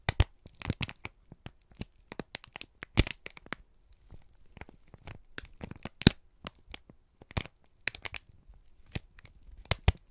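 A wrinkled brown kraft paper strip is squeezed and crinkled by both hands. It makes a dense run of sharp, dry crackles and crinkles, short bright snaps with quieter rustling between them. Each snap dies away almost instantly.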